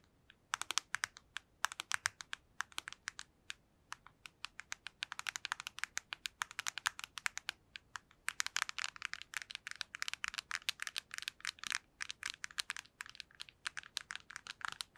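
Long nails tap rapidly on the face and edges of a black PSP handheld console with a hollow plastic casing. The result is a steady stream of sharp, dry, bright clicks with almost no low end and no ring, coming in quick bursts separated by brief pauses.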